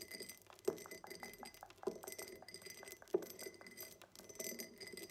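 A tall, empty cut-glass tumbler with a diamond pattern stands on a table and is tapped on its sides with long nails. The result is a steady run of quick, light glassy clicks with a brief ring around 370 Hz. A few louder taps stand out among them.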